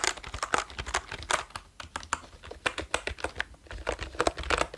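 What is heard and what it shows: Fingertips type quickly on a black plastic computer keyboard with orange keys held close to the microphone. The result is a rapid, uneven stream of short, dry clicks and clacks with bright, crisp tops and very little ring.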